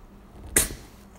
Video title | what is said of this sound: Natural Yeast | it bubbles up almost like a soda all that carbon dioxide bubbling out of there